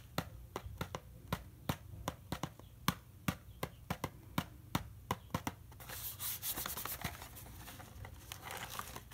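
A small hollow rectangular Herbion Cold & Flu cardboard medicine box, probably full of sachets, is held in one hand while the fingertips and nails of the other hand tap and scratch its printed surface. The first half has a steady run of sharp, dry, quickly damped taps over a low background. The second half turns into a continuous bright scratching and rubbing.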